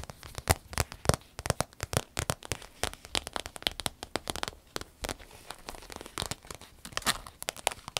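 A medium green striped vinyl travel zip pouch, empty and held in the hands, is squeezed and scratched with long nails. The result is a dense, irregular run of short, dry crinkling and crackling bursts with bright high edges and a light low thump beneath. Each burst dies away almost instantly.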